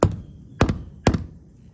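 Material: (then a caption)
Asphalt shingle. A hammer taps an asphalt shingle roof over a wooden rafter, producing three short, dull, low-pitched thuds, each followed by a quick softer rebound tap. The knocks die away almost instantly, marking a solid spot over the rafter.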